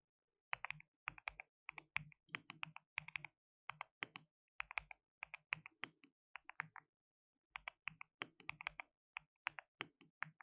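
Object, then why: Plastic mechanical keyboard. Fingertips rapidly type on a white RGB-backlit mechanical keyboard with plastic keycaps, a compact layout and a hollow case. Bright, dry clicks and clacks come in quick bursts separated by short pauses, each keystroke dying away almost instantly.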